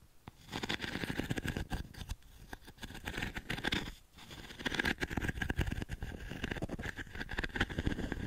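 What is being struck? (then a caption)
Wooden frame with metal mesh insert. Fingertips and nails scratch the metal mesh panel of a small, light octagonal wooden frame held tilted close to the mic. The result is a dense, continuous rasping scratch with a low, rumbling body and a bright, gritty edge. It dips to near silence briefly at the start and again around the four-second mark before resuming.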